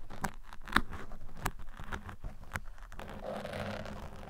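Metal tweezers scratch along the sides of a black foam microphone windscreen, making a run of short, dry scraping strokes and soft picking taps with a low, muffled body. Toward the end the strokes blend into a steadier, continuous rustling scrape against the foam.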